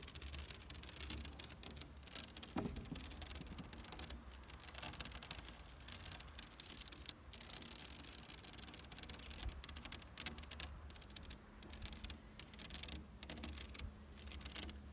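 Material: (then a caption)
Plastic rattan. Fingertips and long nails scratch and tap across the hollow woven panel of an outdoor synthetic rattan wicker chair's black plastic backrest. The result is a quiet, dense run of crisp, dry scratching and clicky taps over a steady low rumble.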